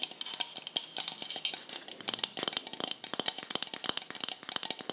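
Long acrylic nails tap and scratch near the black cap of a small, hollow white plastic cosmetic bottle. Dozens of quick, dry clicks and scratches sound bright and high, with no low end and almost no ring. The taps come in uneven bursts that grow denser and louder in the second half.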